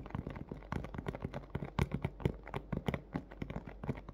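Long fingernails and fingertips tap rapidly on the front of a large, hollow, thin clear plastic clamshell dome holding a pink plush toy. The result is a quick, steady series of short, dull, hollow clicks and knocks, weighted low with little brightness, each one dying away almost at once.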